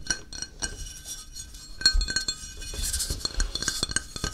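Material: Ceramic.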